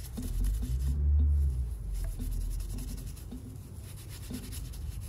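A small hollow glass salt shaker with a floral print, wet with soapy mud and held in hand, is scrubbed with a purple toothbrush. Low, muffled brushing and rubbing strokes repeat at an uneven pace, with a soft, damp scrape to each pass.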